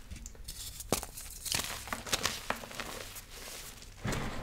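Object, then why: Magnesium carbonate gym chalk block. Hands crush and crumble small, solid, dry blue-green blocks of gym chalk (magnesium carbonate) into powder over a large pile of yellow and green chalk powder. The squeezing and rubbing produce dense, bright crunching and crackling with a few sharper snaps, then a louder, fuller crumble toward the end.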